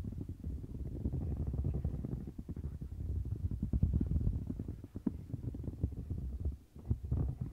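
Long nails scratch across the central bumps and bristle area of a turquoise silicone bristle mat. The result is a steady stream of muffled, low, rumbling scrapes and soft ticks, with almost no bright edge, dipping briefly near the end before picking up again.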